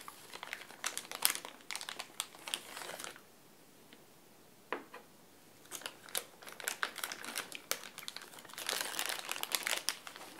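A small clear plastic bag with chess pieces inside is held in both hands while the fingers crinkle and crumple the plastic. Bright, crisp crackles come in quick bursts, broken by a quiet stretch in the middle with a single sharp crinkle. The crumpling then resumes, growing dense and busy toward the end.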